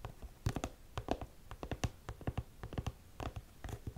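Long nails tap and scratch across a black studded faux suede boot held up in the air, hitting both the suede and the studs. The result is a quick, uneven run of short, dry, muffled taps with a low, thudding body and little ring, with occasional slightly brighter clicks where the nails strike the studs.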